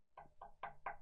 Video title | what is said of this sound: Nas criativas ondas da rádio sucata - Paulo Salmaci. | quando eu bati nele, ele veio um som muito parecido com a madeira